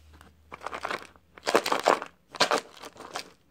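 A small, hollow, clear plastic cup partly filled with dry white soap scraps is held in one hand and shaken, making the scraps rattle inside. Bright, crinkly, crunching rattles come in several short bursts separated by brief pauses.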